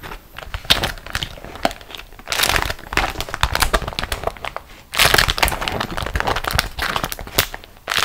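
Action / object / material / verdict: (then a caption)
scrape / beeswax-coated cotton wrap / waxed cotton / none. A printed beeswax-coated cotton food wrap, a thin flexible waxed fabric sheet lying on another wrap of the same material, is squeezed and crumpled into a bunch by hands with long acrylic nails. It makes a steady stream of bright, dry crinkles and sharp crackles, swelling into denser, louder bursts of crunching a few times before easing off.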